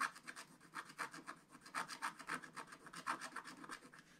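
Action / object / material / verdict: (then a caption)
scrape / wooden stylus on black-coated scratch-art card / coated paper / none. A wooden stylus scratches back and forth across a black-coated scratch-art card page in a spiral book. About twenty quick, dry rasping strokes are heard in an irregular rhythm, each a short bright scrape centered around 1 kHz with no low end or ring.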